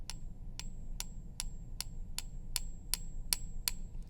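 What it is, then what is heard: Fake silver bullion coin. A suspect 1 oz silver Canadian Maple Leaf coin, bought in a lot from another dealer, is balanced on a fingertip and struck with a pen ten times. Each tap gives a short, tiny-sounding ping that dies away almost at once, with a faint high tone over a low background rumble. The coin is judged fake.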